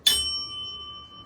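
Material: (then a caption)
Bell metal. A piece of bell metal, the chalice-and-bell metal used to make medallions, is struck once, giving a sharp bright attack followed by a clear, sustained ring centered around 3 kHz, with a steady tone near 1.2 kHz and higher overtones. The ring fades slowly over about a second, and this is the same tone a medallion made of this metal gives when flicked with a finger.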